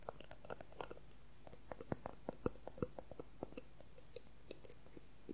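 A thin, solid, clear plastic ruler about 20 cm long is tapped and scratched with fingernails. About 29 quiet, sharp clicks with no ring come in a quick, irregular rhythm, with a faint tonal knock near 465 Hz.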